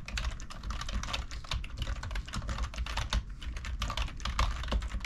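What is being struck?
Plastic computer keyboard.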